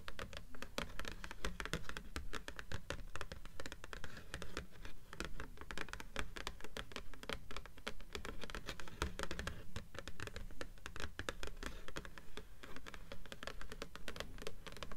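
Long nails on both hands tap and scratch the glossy cover of a solid blue paperback book lying on top of a stack of books. Quick, crisp clicks and scratchy strokes run steadily for the whole clip. A soft low thud sits under the dry, close taps.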